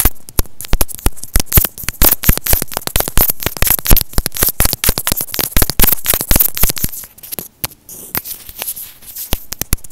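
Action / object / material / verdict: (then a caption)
tap / plastic earphone inline microphone housing / plastic / none. Short painted fingernails and fingertips tap and scratch a small white plastic inline mic/remote with a hollow housing, held in both hands on a thin white earphone cable. A rapid stream of sharp, dry clicks and crackling taps lands with low thumps and bright edges. After about seven seconds it drops to quieter, softer scratching with sparser taps.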